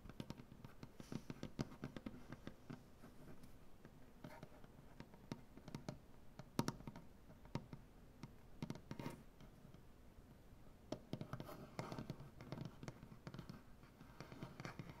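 Fingernails of both hands tap rapidly across a solid light wood butcher block tabletop, producing quiet, clicky taps with a soft low-mid knock. Each tap is dry and dies away almost instantly, with bursts of quicker tapping between steadier stretches.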